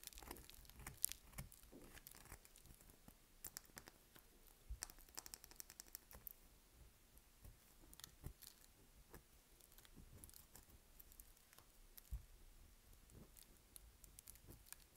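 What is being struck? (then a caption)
Bar of soap. A solid, palm-sized dry lilac bar of soap is held between both hands while fingertips and long nails rub and scratch its dry, flaky surface. The result is a quiet, steady stream of crisp, short scratching and crackling ticks with a brittle, papery texture and a low background rumble.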